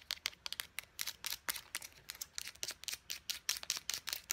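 Long nails tap quickly on the pump head and body of a small white plastic face wash bottle with a purple pump top. About two dozen dry, bright clicks land in an uneven, rapid rhythm, each dying out almost instantly with no low-end body.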